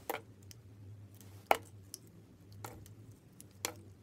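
A solid red and white bar of soap, held in fingers with long red nails, is sliced and scraped with a utility knife blade into thin curls. Short, crisp cutting and scraping sounds with bright edges land at uneven intervals over a quiet, steady low hum.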